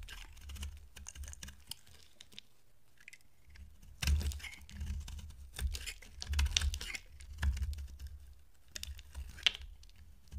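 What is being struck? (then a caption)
Bar soap scraped with a blade. A utility-knife blade, held by a hand with dark nails, scrapes curls off a solid, dry peach oval bar of soap with a blue rim. Quiet, crisp scratchy strokes alternate with louder bursts of bright, crumbly shaving over a soft low rumble.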